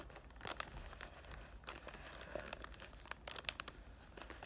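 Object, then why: Cellophane-wrapped cardboard box. Fingertips with short painted nails rub and crinkle the clear cellophane wrap across the front of a cardboard box for Ariana Grande's "Thank U Next" perfume. A quiet, steady crinkling rustle is heard, mostly high and bright, with several sharp crackling snaps poking out along the way.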